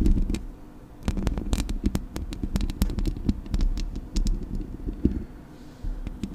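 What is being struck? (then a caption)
Metal mesh microphone grille. Fingertips and nails scratch and tap the hollow metal mesh grille of a Blue Yeti microphone. The result is a close, boomy low rumble of rubbing, broken by many quick, sharp clicks with bright edges that stop almost at once. The scratching swells and fades in uneven bursts throughout.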